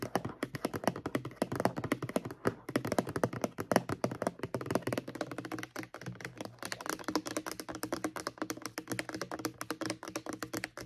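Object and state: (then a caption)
Plastic mouthwash bottle. Long acrylic nails tap rapidly on the front label of a mid-sized, apparently full, white plastic Crest mouthwash bottle. The result is a steady stream of quick, dry clicks with a slightly hollow, low-pitched knock and almost no ring.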